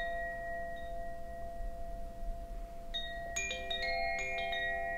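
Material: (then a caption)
Bamboo. A hollow bamboo Koshi wind chime, held by its cord and gently shaken, lets out soft, lingering tones over a low background rumble. About halfway through, a cluster of light strikes adds brighter, overlapping chime notes that keep ringing to the end.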